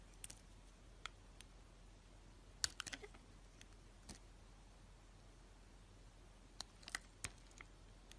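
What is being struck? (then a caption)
Bar of soap cut with a knife blade. A utility knife blade scrapes and cuts the surface of a hand-held solid rectangular pink-and-white striped soap bar. About ten short, sharp, bright clicks and crisp ticks sound at scattered intervals, some in quick clusters, over a quiet steady low hum. Each tick dies away almost instantly.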